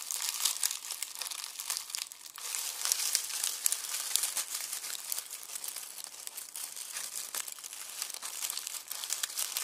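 Both hands squeeze and crush a red plastic mesh bag filled with dry, papery onion skins. The result is a continuous, dense crinkling and crackling, bright and high with almost no low end and many sharp little snaps.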